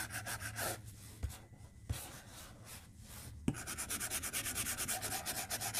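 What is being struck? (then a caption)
Plastic stylus tip on a glass tablet screen. The hard plastic tip of a white stylus scratches across the large, flat glass screen of an iPad tablet lying on a desk, making drawing strokes. Quick rhythmic rubbing strokes start the clip, then it goes quieter with three sharp taps. A long run of fast, bright scratching strokes follows to the end.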